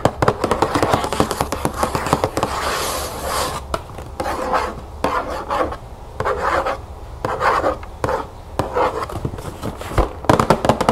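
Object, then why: Cardboard cereal box. Long acrylic nails scratch and tap the front panel of a large, closed, printed cardboard cereal box that is presumably full and lying flat on a wooden table. Quick dry taps and clicks mix with rasping, brushy scratches, including a sustained hissy scrape around the third second. Each sound is short and dry with almost no ring.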